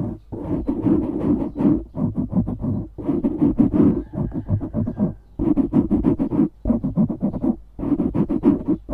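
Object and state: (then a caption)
Foam microphone windscreen being scratched. Fingernails rapidly scratch the sides of a dark grey foam windscreen on a studio microphone. Dense bursts of muffled, low-mid rasping with a steady low rumble underneath come in fast flurries, separated by brief pauses.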